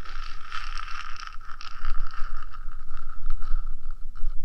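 Both hands scratch the top of the small, hollow, painted metal body of a 3Dio binaural microphone with long gradient acrylic nails. The result is a continuous, gritty scratching over a steady mid-pitched metallic ring, with bright, rough flutter and a faint low rumble underneath.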